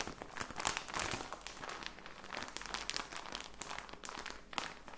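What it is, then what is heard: Plastic package crinkled. A plastic package of socks is crinkled and squeezed with the fingertips. It makes a dense, continuous run of bright, dry crackles and crinkles that rise and fall in loudness, with very little low end.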